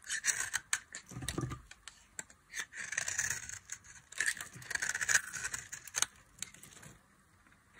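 A box-cutter blade scrapes and cuts a solid tan bar of dry soap held in the hand, leaving crumbly flakes. Bright, dry scratching strokes come in quick bursts with sharp crisp clicks, then fade to near quiet at the end.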